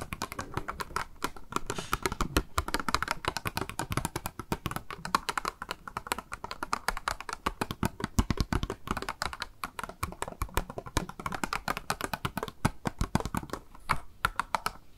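Long nails tap rapidly and continuously on a small, hollow, clear pink plastic cube blister box with a makeup sponge inside, held in the hand. The taps are short, dry, hollow plastic clicks with a slight low thump, coming in dense, uneven bursts throughout.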